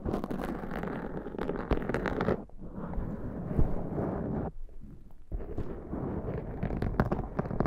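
Fingertips and nails of both hands rub and pat the sides of a soft, porous, fist-sized black foam windscreen on a Zoom recorder, and by the end the hands open out beside it. The result is a dense, muffled crackling and scratching with a heavy low rumble, dropping briefly quieter around 2.5 seconds and again from about 4.5 to 5.3 seconds before building back up.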